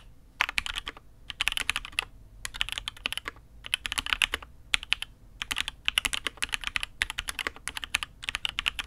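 Both hands type with their fingertips on a custom Matrix 8xv 2.0 mechanical keyboard with INK Black, an aluminium case and red and grey ABS keycaps. It makes about 52 short, bright clacks in quick bursts separated by brief pauses. Each keystroke stops almost instantly, with little low-end thump.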